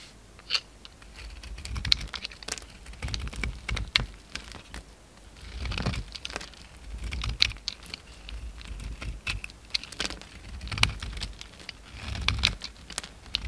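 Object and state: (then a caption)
Bar soap being shaved. A hand-held solid cream bar soap with brown coating remnants is shaved with a utility knife blade. Dry, bright scraping and crackly crumbling sounds come in clustered bursts, with soft low thuds underneath.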